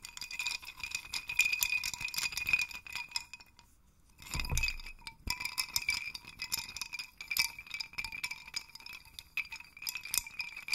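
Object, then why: Small wooden stick chime rattle. A hand holds a wooden dowel and shakes a small wooden hanging chime rattle, making clusters of thin, light-colored wooden sticks or tubes hung on strings clack together. The result is a dense, bright, continuous clatter of quick, short clicks with a steady ringing tone near 2.4 kHz. It pauses briefly around the four-second mark, gives a soft low thump, then resumes.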